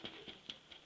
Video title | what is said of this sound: **CÔTE CUISINE** Façonnage de mes baguettes -2techniques- une autre de mes passions ;) | ça sonne creux tout simplement